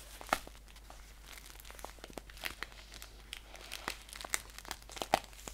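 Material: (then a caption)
Paper. Fingers crinkle and scratch a green paper tea pouch with a label, handled both upright and flat. Dry, crisp crackles and scratches come in quick bursts, with a few sharper, louder snaps standing out above a quiet background. The sound is bright and papery, with very short ring.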